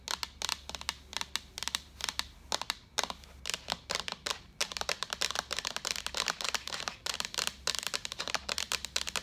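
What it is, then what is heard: Plastic jug. Long acrylic nails tap rapidly on a white, hollow, empty-looking plastic jug with a handle. The sound is a steady stream of bright, sharp, dry clicks that stop almost instantly, with very little low end over a faint steady hum.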